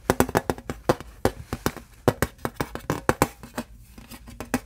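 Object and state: Aluminum license plate.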